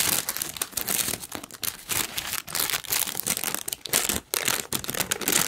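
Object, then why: Thin tissue paper sheet. A large, thin, wrinkled pink tissue paper sheet is held up and crinkled with the fingers of both hands. The result is a steady stream of bright, dry crinkling and rustling, rising and falling in bursts with only brief pauses and little low end.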